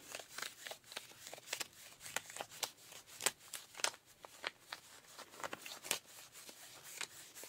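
Pink rubber-gloved fingertips scratch and rub worn, ripped blue denim jeans where the fabric is thin over the thigh, working around the knee and thigh rips. The result is a quiet, steady run of short, dry, bright scratching strokes with a crackly texture, little low end, and almost no ring after each stroke.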